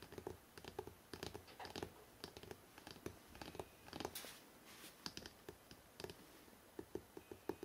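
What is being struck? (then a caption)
Hardcover book. Fingertips tap quickly along the spine of a hardcover book printed "NEW YORK", then the book is held by its ends. The taps are light, dry and short, with a hollow mid tone and almost no ring. A brief brighter scratchy brush sounds around the fourth second.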